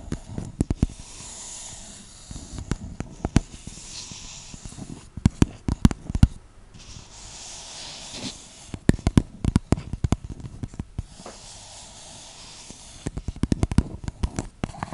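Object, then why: Small clear plastic cup. Long nails tap and scratch the sides of a small, hollow, empty clear plastic cup held in both hands. Sharp, dry clicks come in quick clusters over a steady scratchy rustle, with a dull low handling rumble beneath. There are brief quieter stretches of scraping between the bursts of tapping.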